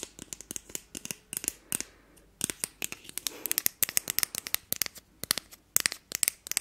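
Long nails scratch along the handle and tines of a thin, flat, solid, hand-sized wooden disposable fork. The result is a rapid, uneven run of about 35 short, dry, scratchy clicks with no ring, bright and high with almost no low end. Brief pauses break up the run.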